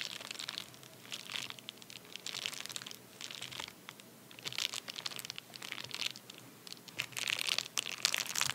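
Fingertips and nails tap, scratch and press a flat, empty padded paper bubble mailer lying on a towel, making it crinkle. Bursts of bright, crunchy crinkling come and go in clusters with quieter gaps, with almost no low end and very little ring after each touch.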